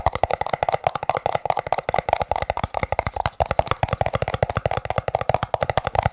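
Fingertips tap quickly on plastic cups, making about 39 crisp, hollow clicks in rapid, uneven succession. Each click is short and dry, with a hollow ring centered near 650 Hz.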